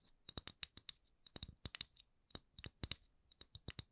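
A round, palm-sized solid wooden candle lid with a printed logo is tapped and scratched with long acrylic nails. The result is a quiet run of about 21 short, dry, bright clicks in uneven clusters, with little low end and almost no ring after each tap.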